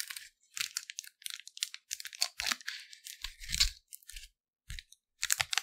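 A thin, flexible, printed clear plastic wrapper from a Lindor chocolate, empty and flattened, is held in both hands by the fingertips in front of the microphone and stretched, rubbed and crinkled. Bursts of bright, dry crackling and crinkling come in quick, irregular clusters with short gaps, and a few soft low thumps sit under some of them.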